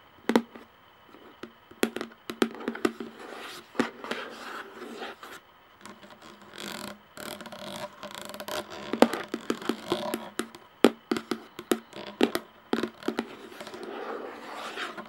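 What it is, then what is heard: Plastic jar lid. Long nails tap on the hollow plastic screw lid of a clear plastic jar and grip its rim, giving quick, dry clicks with a short knock around the low-mid range. The taps come in irregular bursts between soft scraping and rubbing along the rim, with brief quiet gaps.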